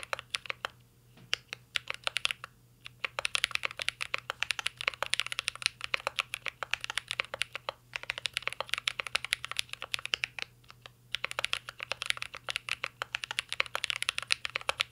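Fingertips of both hands type steadily on a full-size CYBERBOARD R3 mechanical keyboard with an aluminum case, plastic keycaps and Holy Panda switches. The result is a dense run of short, bright clacks centered around 2.6 kHz that stop instantly, broken by brief pauses near 1, 2.5, 8 and 11 seconds. A faint steady low hum sits underneath throughout.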